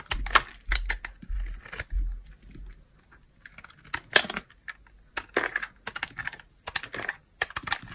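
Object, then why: Small bar of hard soap cut with a knife blade. A small, worn-down peach bar of hard soap, narrowed to a thin piece, is held in the fingers and carved with a utility knife blade as slices are shaved off. Short, crisp scraping and cutting strokes come in irregular bursts with bright, crackly edges, separated by quiet pauses.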